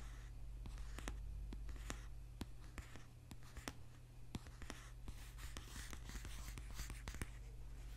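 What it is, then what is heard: Paperback book. Fingernails tap and scratch repeatedly on the front cover of a thick paperback book with a dark glossy cover, lying solid near the microphone. Quiet, sharp clicks of short, irregular taps come through over a soft, bright scratching texture. A steady low hum sits underneath throughout.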